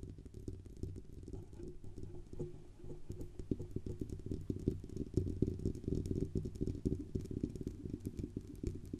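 Long nails tap and scratch the metal band and sides of a silver Blue Yeti USB microphone with a hollow metal body. The result is a dense, irregular stream of quick, dull taps and scraping, heavy in low boomy tones and with almost no ring after each touch.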